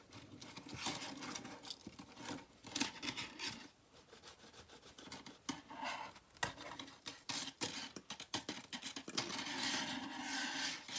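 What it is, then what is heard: Plastic coil spring toy, flexed and shaken. A hand-sized, hollow, multicolored plastic rainbow slinky is held in the hand and flexed and shaken, so its plastic coils rub and clack against each other. The sound is a bright, scratchy rustling broken up by many quick, sharp clicks that die away almost at once, with little low end. It swells and fades in uneven bursts throughout.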